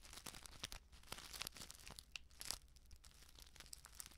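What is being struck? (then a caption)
Plastic instant soup sachet. A flat, sealed plastic instant soup sachet filled with dry contents is crinkled and scratched with long nails. The result is a quiet, steady run of bright, dry crackles and sharp crinkling snaps, with faint rustling of the contents underneath.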